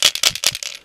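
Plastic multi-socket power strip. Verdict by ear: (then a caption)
Broken. A 16-year-old plastic multi-socket power strip that has taken many impacts is shaken near a microphone, producing short bursts of bright, high-pitched rattling with almost no low end. The rattle comes from broken springs and plastic parts inside near the plug sockets, a fault that can cause a short circuit and a fire; a new strip makes no sound when shaken.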